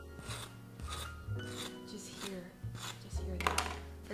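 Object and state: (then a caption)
Crusty baked bread loaf. A freshly baked no-knead bread loaf, just out of the oven, has its crust rubbed and scraped, then pressed in a crunch test, producing repeated dry, rasping crackles over steady low-pitched tonal sounds in the background. The loaf is crusty on the outside and moist on the inside.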